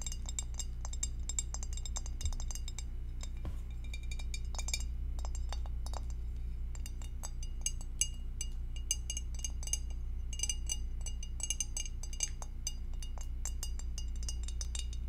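An empty, clear, hollow two-compartment rectangular glass food dish is held in both hands while long acrylic nails tap on its base and rim. Quick, irregular, bright clinks and ticks follow one another with almost no ring, over a steady low hum.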